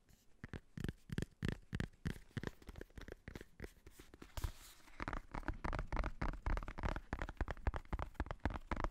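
A black hardcover notebook with a faux-leather cover has its top edge and cover tapped and scratched with fingertips and nails. Quick, irregular, dull taps with a soft low thump run throughout, with a brief scratchy hiss in the middle.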